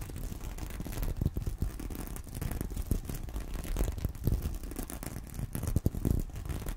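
A small flat reversible sequin fabric purse covered in pink and teal plastic flip sequins, lying on a corduroy pillow, is scratched and brushed with fingertips and medium painted nails. The result is a steady, dense rustling scratch, mostly low and muffled, with quick clicky sequin flicks and a faint bright crackle throughout.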